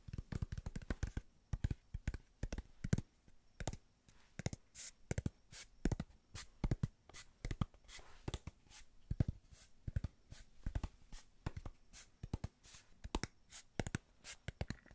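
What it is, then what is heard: Cardboard box tapped with nails. Long nails tap quickly across the faces of a small, hollow kraft cardboard box held in the hands. The result is a rapid, uneven patter of short, dry, hollow taps with a low thud at their core and no ring. The taps come in quick bursts with brief pauses between them.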